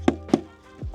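The inflated leading edge of a kitesurfing kite, fabric over an inflated bladder, is tapped twice to check that it is firmly pumped to about 9 PSI. Each tap gives a short, solid, high-pitched knock with almost no ring, which indicates the leading edge is properly inflated.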